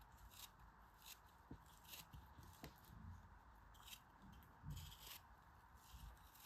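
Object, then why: Molded kinetic sand block. A knife slices pieces off a large, solid, yellow molded kinetic sand shape held in the hand. Quiet, crisp scraping and crackling cuts come in repeated bright bursts over a steady low rumble, with a few soft thuds as pieces fall away.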